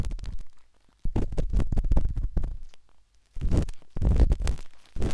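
A metal-tipped dot stick with a wooden handle scratches inside the soft, hollow canal of the pinkish-white silicone ear of a binaural microphone. Heard up close, it makes deep, muffled rubbing and quick tapping bursts, separated by short pauses of near silence.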